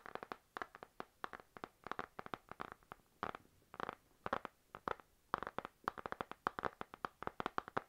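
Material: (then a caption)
Laminated card. Fingernails tap on the glossy laminated card cover of a panda-print spiral notebook held in the hand. Quick, dry clicky taps with a mid-range tone come in irregular clusters separated by short pauses. Each tap dies away almost instantly.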